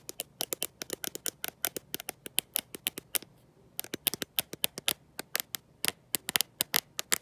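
Long nails fitted with gold metal paperclips tap and scratch the glossy glass back of a black smartphone with no case, held in one hand. About 41 quick, bright, dry clicks come in irregular bursts, with a short pause just after the three-second mark. Each click stops sharply with no ring.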